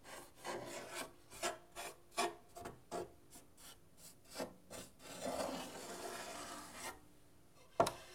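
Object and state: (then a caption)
Painted wooden guitar top being scratched. Fingertips and nails scratch and rub the lower painted wood of the soundboard on half a guitar, a thin hollow wooden body. A series of short, rasping strokes with a hollow tone is followed by a longer continuous rub and then one sharp, bright scrape near the end.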